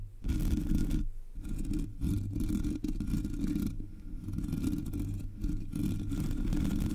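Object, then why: Metal mesh microphone grille. Long nails scratch the sides and top of the black hollow metal mesh grille on a Blue Yeti microphone, producing a dense, rough scraping that stays mostly low and muffled. The scratching runs nearly continuously, with brief dips in level around the one- and four-second marks before it resumes at steady loudness.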